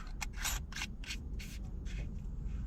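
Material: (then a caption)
Plastic. A closed plastic preform tube packed with paracord and a metal marlin spike is shaken. Only soft, brushy rubbing bursts are heard over a low rumble, with no loose clatter. The contents sit snug, with no rattle.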